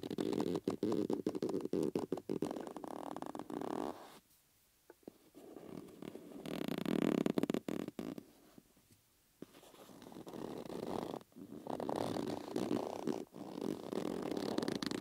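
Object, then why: Rubber bellows with metal rims. Fingers pull and rub the inside of a yellow rubber bellows membrane held between metal rings, stretching the rubber so it squeaks. Dense, rapid bursts of rubbery squeaking and rubbing center on a low-mid pitch. They are broken by short quiet pauses around the 4- and 9-second marks before the stretching resumes.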